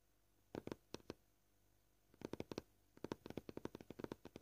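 Short painted fingernails tap on a solid, flat, white, scratched plastic cutting board. They make 23 quiet, dry clicks with a hollow midrange knock, coming in irregular clusters at a gentle, varying pace. Each tap stops almost instantly.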